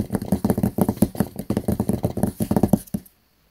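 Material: Cardboard.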